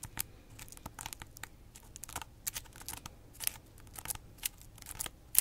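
Long acrylic nails scratch and tap on the rough, segmented rind of a large, solid, whole fresh pineapple with its crown, held in the hands. The result is a quiet, dry run of crisp, bright scraping bursts and sharp clicking taps, irregularly spaced, with almost no ring after each one.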